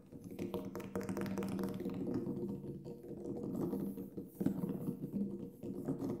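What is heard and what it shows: Fingertips tap on the black synthetic head of a large, hollow Remo Buffalo frame drum lying flat with the head up. The result is a steady stream of soft, quick, overlapping taps with a warm, low resonant hum around 260 Hz. Each tap stops almost at once, and there is little high-end brightness.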